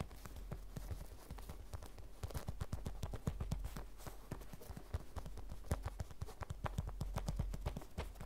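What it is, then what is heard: Vinyl zip pouch tapped with fingernails. Long red nails tap and scratch a small, flat, hollow vinyl zip pouch with a cartoon print and a beaded charm as it rests on a wooden table. The taps come fast and unevenly as soft, dull, low thuds that die away almost instantly, with faint scratchy rustling between them.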